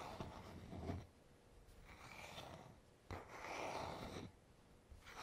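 Fingertips slowly rub the smooth, solid wooden back of a paddle hairbrush held in the hand. The result is a quiet, soft, breathy friction sound that swells and fades with each stroke, with a low thump at the start of one pass and a bright hiss on top.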